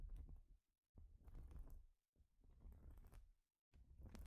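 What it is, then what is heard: Plastic studded baseplate being scratched. Long pointed nails scratch over the studs of a flat, thin, solid plastic Lego baseplate as hands move across it and knit sleeves brush the surface. Four scratchy, rumbling bursts are heard, separated by short silences. The sound is dense and mostly low, with brief brighter edges.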